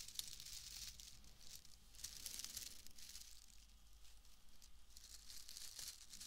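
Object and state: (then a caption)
Wood wool bundle crumpled by hand. A loose, pale, palm-sized bundle of wood wool is squeezed, crumpled and rubbed by hand close to the microphone. It gives a continuous, dense crackling and rustling with a bright, hissy texture over a faint low rumble, with a few sharper crinkles standing out.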